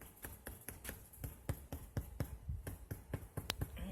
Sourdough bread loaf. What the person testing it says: You hear that nice hollow drummy sound